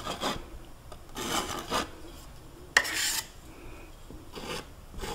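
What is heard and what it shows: A metal palette knife is scraped and rubbed across a large, flat canvas panel covered in wet oil paint and leaning against a wall, painting a mountain. Soft, bright rasping strokes come in short bursts, with one sharper scrape that starts with a quick click partway through.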